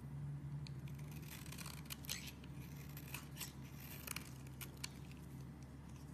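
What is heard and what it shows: A metal blade repeatedly scrapes shavings from the edge of a solid purple bar soap held in the hand. Quiet, dry scratching strokes come in short bright bursts over a steady low hum.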